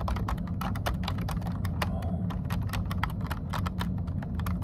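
Both hands type continuously with short-nailed fingertips on a plastic computer keyboard, producing a rapid, steady stream of short, bright key taps. A constant low hum sits underneath the clicking throughout.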